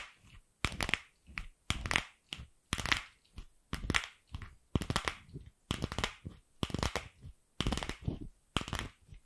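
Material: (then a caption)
Plastic. A single palm-sized, light pink hollow plastic ball is held in the hand and tapped and scratched with long pink acrylic nails. Short, crisp scratching bursts come about once a second at an uneven pace, with a bright, papery crackle, a dull hollow low end, and quiet gaps between them.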